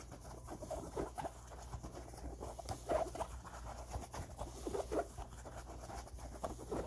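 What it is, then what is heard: Cotton baseball cap scratched. Fingertips scratch along the crown seams of an empty, soft tan cotton baseball cap with eyelets and stitched panels. The result is a quiet, dry, scratchy rustling in the midrange over a steady low hum, with three slightly louder strokes standing out.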